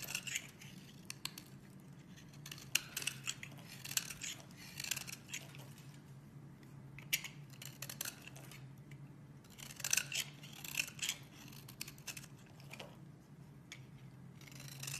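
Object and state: Bar soap being shaved.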